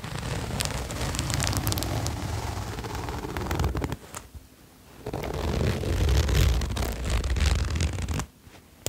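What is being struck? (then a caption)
Sherpa fleece jacket with zipper. A red patterned sherpa fleece jacket: fingertips pull its zipper and rub the fleece near the collar. Heavy low rustling and scratchy zipper ticks run in two long stretches, broken by a short quiet gap around the fourth second, then fall quiet near the end.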